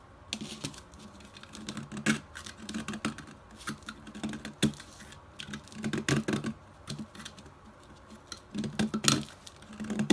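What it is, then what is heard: Chalk block scraped and cut with a blade. A solid striped pastel chalk block is held upright in the fingers while a metal utility blade repeatedly scrapes and cuts into it, dropping colorful chalk crumbs onto white paper. The result is a steady run of dry, crisp scraping and clicking strokes, with louder crunchy bursts that carry bright high edges over a low, gritty body.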